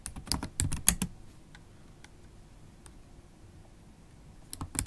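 Long, pointed acrylic nails type on the black plastic keys of a MacBook Pro laptop keyboard. A quick burst of sharp, bright clicking taps with a low thud beneath them runs through the first second. Near-silence follows, then a few more taps come near the end.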